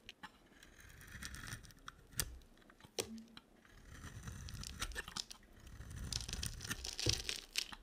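A box cutter blade carves and scrapes a solid, hand-sized bar of dry white soap with a yellow coating. Crisp, bright scraping and crunchy, tearing shavings come in uneven strokes, broken by sharp clicks where the blade bites.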